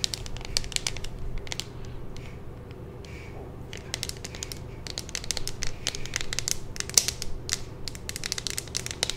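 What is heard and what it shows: A handheld, hollow clear plastic phone case with a pink magnetic ring is tapped and scratched with long nails. Quick, bright plastic clicks and scratchy crinkling come in dense clusters, with a louder tap near the seven-second mark. A steady low hum runs underneath throughout.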